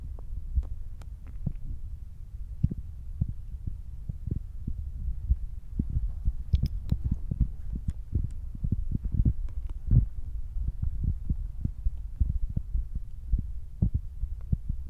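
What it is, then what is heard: Foam microphone windscreen. Fingertips tap quickly on top of a black foam windscreen fitted over a Zoom recorder's microphone. The result is a steady run of soft, muffled, low thumps that fall silent almost at once, with a faint hum underneath and a few sharper, brighter clicks near the middle.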